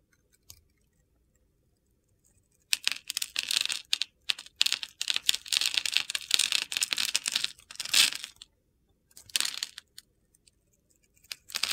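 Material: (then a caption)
Soap. A metal box-cutter blade scores and slices a palm-sized, hand-held solid teal soap bar with a glitter and sequin coating, cutting it into crunchy cubes that crumble off. Bright, gritty crunching and scraping bursts run almost continuously for several seconds, then return in a few shorter bursts. The sound is crisp and high-pitched, with no low rumble.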